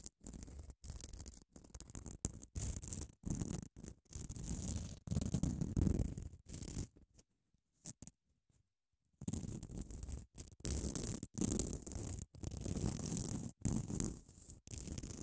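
Long nails scratch along the sides of a small grey, solid foam nail buffer block with a grit-coated abrasive surface, held in one hand. The result is a run of short, rough scratching strokes, heavy in low rumble with a bright hiss on top, broken by a brief near-silent pause midway before the scratching resumes.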